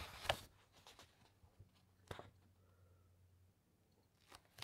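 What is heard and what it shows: Fingertips and long nails rub across the thick paper pages of an open hardcover encyclopaedia, then a page is turned. Soft, bright, scratchy paper rustles come in short bursts over a quiet, faint low hum, with the sharpest swipes near the start, the middle and the end.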